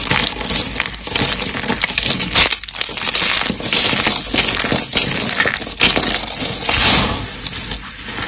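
Dark green dry starch soap flakes with pink bits, solid and brittle, are crumpled and crushed by hand. The result is a steady, dense stream of bright, dry crunching and crackling, mostly high-pitched with very little low end, broken only by brief dips between squeezes.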